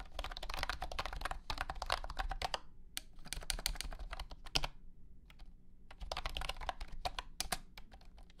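A compact white and blue plastic wireless keyboard with round hexagonal honeycomb membrane keycaps and a hollow body rests on a carpeted surface and is typed on with the fingertips of both hands. Rapid bursts of short, dry, clacky key taps come in three runs separated by brief pauses, each tap dying away almost instantly over a steady low hum.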